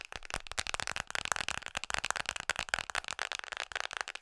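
Long nails tap fast on the back of an iPhone in a red Mickey-print hard plastic case. The result is a rapid, uneven stream of sharp, dry, bright clicks with no ring and almost no low end.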